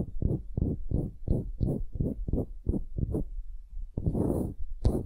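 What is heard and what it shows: Long nails scratch and tap the end-grain face of a solid pale wooden cube held upright. A quick, even series of short, low, muffled scratching strokes is followed by a longer, rougher scrape and a final sharp tap.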